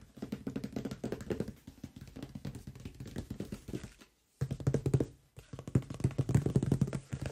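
Fingertips of both hands tap and drum on the top surface of a large, closed cardboard microphone box. They make rapid, dull, hollow thuds with a low resonant tone and almost no ring. The drumming runs in bursts, with a brief pause near the middle and a short gap before the last, stronger stretch.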